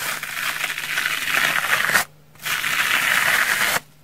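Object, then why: Foam sponge. The tip and edge of a pink knife scratch across the face of a large pink, porous foam sponge that is solid and dry, with small cuts visible on its surface. Two sustained passes of dense, raspy scratching come through bright and crackly, with a short silent gap between them. Each pass stops abruptly.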